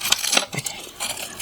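Dry, crispy dead leaves are pulled off a succulent while it is being cleaned, making a bright, brittle crunching and crackling in short bursts. The crunch shows the dead leaves are dry.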